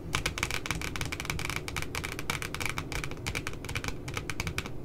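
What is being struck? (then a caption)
Spiral notebook with glossy paper cover. Long glitter nails on both hands tap rapidly around the image of two puppies on the glossy paper cover of a spiral notebook. The result is a dense, steady stream of crisp, bright clicks with very short decay, over a faint low rumble.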